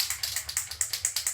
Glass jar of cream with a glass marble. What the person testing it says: you can hear that cracking sound so that's the marble telling us where we're at with our butter making process